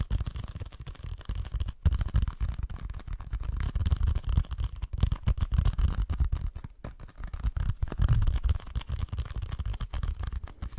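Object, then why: Small hollow plastic game case. Fingertips and nails scratch and tap the surface of a small, flat, hollow plastic video game case with a printed orange paper insert, held in both hands close to the microphone. A dense, continuous run of dull scratching and quick tapping, heavy in low rumble, rises and falls in bursts with a few brief pauses.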